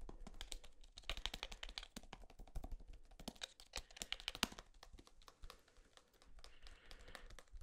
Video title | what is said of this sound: ASMR Tapping On EVERYTHING | this thick plastic it's kind of unique